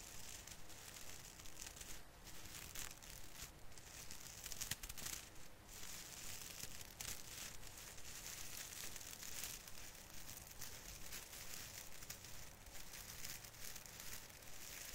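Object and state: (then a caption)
Plastic artificial Christmas tree branches. Fingers of both hands rub and squeeze the plastic needles on the branches of a small artificial fir Christmas tree. The result is a steady, dense crinkling and crackling rustle with a bright, hissy top and a low rumble underneath, holding at an even level throughout.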